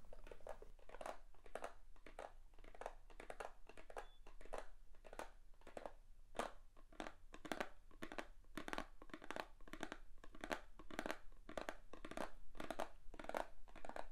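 A small, hollow, light-blue Avon "Infinity" cardboard perfume box is held in the hands and tapped and scratched with long painted nails. Quick, dry taps and scratchy, crinkly strokes run steadily throughout, each ending almost at once with a hollow mid-pitched knock and bright edges.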